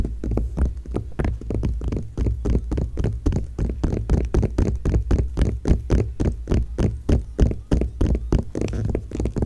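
Long nails and fingertips of both hands scratch and rub an open glossy magazine page. Quick, uneven, papery strokes with short, bright scratchy edges repeat over a steady low rumble.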